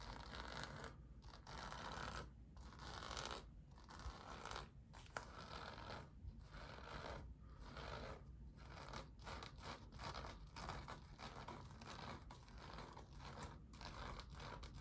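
Fingernails scratch and rub along the pebbled surface and seams of an orange, inflated composite leather basketball held in both hands. The result is a quiet, steady, dry rasping scratch, broken by brief irregular pauses, with a faint bright hiss running throughout.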